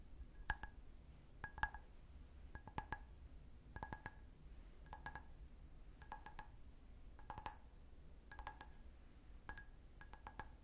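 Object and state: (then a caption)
Glass wine glass. A clear, empty, medium-size stemmed wine glass is held sideways while fingernails tap its foot. Quick clusters of light, bright clicking taps recur every second or so across the clip, each with a short glassy ping that dies away almost at once, over a faint low hum.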